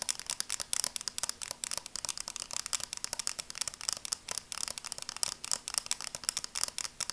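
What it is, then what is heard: Plastic sunglasses tapped and scratched with nails. Long dark nails rapidly tap and scratch along the red plastic frames and dark lenses of a small pair of sunglasses held up in both hands. The sound is a quick, continuous stream of sharp, bright clicks and scrapes with almost no low end, each one dying away instantly, over a faint steady low hum.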